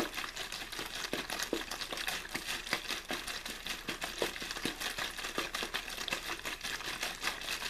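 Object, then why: Thin plastic water bottle. An empty, hollow, clear plastic water bottle with a blue label, held in one hand, is squeezed and crinkled by the fingers, deforming its thin plastic walls. A steady run of bright, crackling snaps and pops overlaps with little low end, and each crackle dies away almost instantly.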